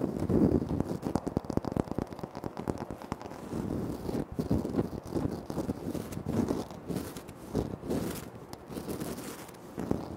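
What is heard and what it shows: Fingertips and short nails tap and scratch across a flat, solid, speckled granite floor tile. The result is a dense, uneven stream of quick, crisp taps and rough scraping strokes, with body in the low-mid range. Each tap dies away almost at once with no ringing.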